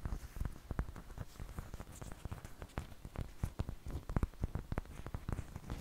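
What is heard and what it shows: A large, thin, flat flour tortilla, dry and flexible and held up in both hands, is tapped with long painted fingernails. Quick, irregular taps give soft, dull, low patting thuds that die away almost at once, with a faint crinkly hiss underneath.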